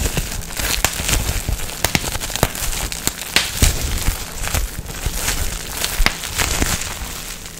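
A clear plastic bubble wrap sheet with air-filled bubbles is pinched and popped with fingertips and twisted in the hands. Sharp, bright pops snap out irregularly over a steady, rustling crinkle of plastic.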